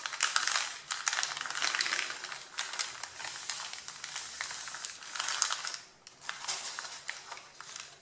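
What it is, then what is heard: Stack of printed paper sheets. Fingertips and nails rub and scratch the top sheet of a stack of printed A4 paper resting on a table, crinkling it. The sound is a dense, dry, bright scratching and crackling with almost no low end, swelling and fading in short bursts with a brief quiet dip near the six-second mark.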